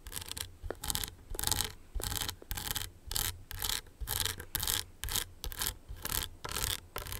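Long nails scratch and rub across the crystals of a small, hollow owl-shaped rhinestone clutch purse on a metal frame. Bright, gritty rasping strokes repeat about twice per second, each with a low hollow rumble underneath.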